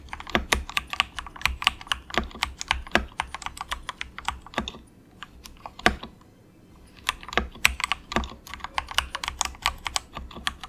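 Fingertips of both hands type quick, soft taps on a cheap compact 68-key mechanical keyboard with grey and orange plastic keycaps and a hollow plastic case. The bright, short, clacky key clicks come in rapid irregular bursts over a faint low hum, with a brief lull in the middle before the typing picks up again.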